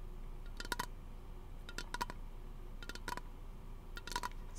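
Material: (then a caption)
Aluminum. Fingernails tap a small, hollow, pressurized teal aluminum aerosol lotion can held in one hand beside a plastic-wrapped microphone. The taps come in quick, irregular clusters of bright, sharp clicks with a brief metallic ping near 1 kHz that dies away almost at once. A steady low hum sits underneath.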